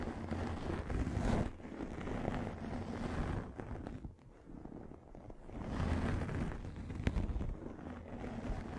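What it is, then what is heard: Microfiber pad scratched over a microphone. Long nails scratch a pink, fluffy microfiber makeup remover pad held over the microphone. The result is a dense, muffled rustling rumble, heavy in the low end with little brightness. It swells and fades in uneven waves, with a brief sharp click near the end.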